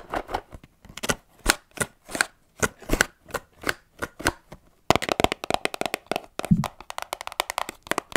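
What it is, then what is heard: Cardboard box tapped and scratched with nails. A small, hollow, rectangular cardboard box of Johnson's baby cotton buds is held in one hand and tapped and scratched with long manicured nails. For the first five seconds, separate dry taps land at a steady, unhurried pace, each with a hollow papery knock around 660 Hz and a bright, scratchy edge. The nails then switch to fast, dense tapping and scratching, giving a crisp rapid patter with almost no ring.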